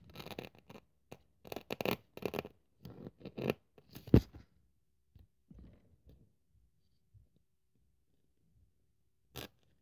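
A thin white polyethylene packing foam sheet, held on a wooden table by fingertips with long nails, is cut and scraped with a craft scalpel blade. Dense bursts of dry, crackly scraping and tearing fill the first four seconds, peaking in a sharp snap just past four seconds. Sparser, softer scratches follow, with a final brief scrape near the end.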